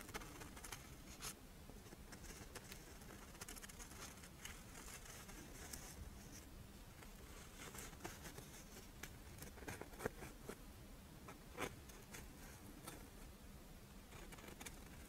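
A Doraemon-shaped monaka, held upright, has its embossed dry rice wafer face tapped and scratched by long nails. The result is a quiet, steady patter of soft, crisp taps and papery scratching with brief bright clicks, over a faint low hum.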